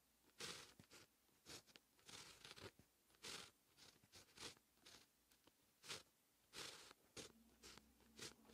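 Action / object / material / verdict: scrape / fine-tip pen on paper sheet / paper / none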